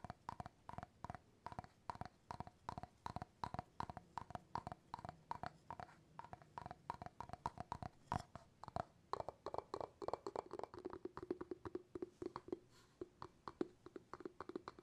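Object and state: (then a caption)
Glass jar with bamboo lid. Fingertips tap rapidly on the bamboo lid of an empty glass jar, producing about 74 quick, dry, hollow knocks. The taps are soft and woody, with a low tone near 344 Hz that grows fuller in the second half of the clip.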